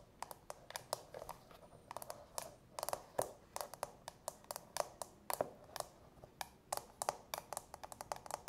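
Long natural fingernails tap and click on the clear plastic dome-shaped insert of an empty, hollow frosted plastic manicure bowl. The result is a quick, irregular series of sharp, dry plastic clicks with almost no ring and little low end, some taps landing in quick doubles.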